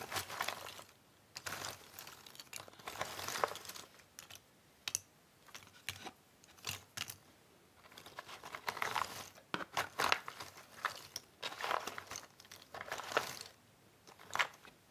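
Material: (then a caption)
Cardboard. Fingers dig into a pile of loose cardboard jigsaw puzzle pieces in a cardboard box and shuffle them around. The result is bursts of dry, bright rustling and light clicking clatter, separated by brief quiet pauses.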